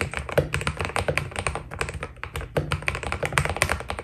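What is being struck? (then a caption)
Mechanical keyboard with PBT plastic keycaps. Fingertips type steadily on a white Keydous NJ80 mechanical keyboard with PBT plastic keycaps. The result is a quick, continuous run of short clacky key presses, each with a deep, thocky low body and a bright, crisp top that dies away almost instantly.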